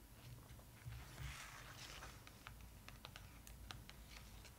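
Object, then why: Glossy paper photo book. Long acrylic nails tap and scratch across the glossy paper pages of an open photo book, with a page turned in between. Sharp, bright clicks and soft papery scratches sit over a low, steady rumble.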